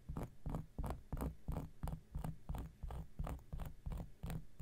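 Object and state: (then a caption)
Cork coaster being scratched. An X-Acto knife blade is scratched over a round, flat, solid cork coaster in repeated strokes, roughly three per second. Each stroke makes a soft, rasping scrape with a low rumble and a brief bright edge.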